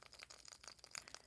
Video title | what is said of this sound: Silk Cocoon Dangles (Beebeecraft Product Review & Tutorial) | it's hollow and it sounds like it's got a bead inside